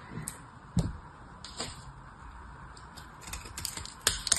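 A knife cuts into the end of a solid oval soap bar with a ridged, blue-painted surface, and dry soap crumbles off. Short, crisp clicks and crackles with a bright, papery edge stand out over a faint, steady hiss, each dying away almost at once. The sharpest snaps come near the end.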